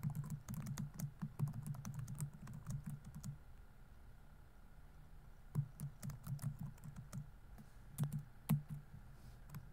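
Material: Plastic.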